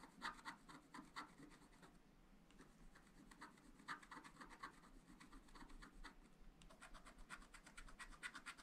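A wooden stylus scratches and rubs the coating of a black, wax-coated scratch-art page in a small spiral-bound pad of thin, flat paper. Quick, bright rasping strokes come in rapid bursts, easing into a softer, duller stretch near the middle before picking up again. A faint low rumble runs underneath throughout.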